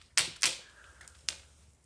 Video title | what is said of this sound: LED반디볼 / 땅에 세우는 야외 경관용 볼조명 / 안뽑히는 구조로 만들기 / 공원조명장식 / 무대조명 / 방울조명 인테리어 [불킴의 조명라이프] | 인정사정 없이 두들겨 패도 절대 안 부셔집니다